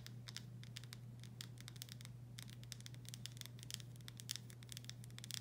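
Long stiletto nails tap and scratch the paper-labeled glass body of a full, medium-size Vlasic pickle jar. Quick, bright clicks and scratchy rustles come in irregular bursts over a steady low hum, staying quiet throughout.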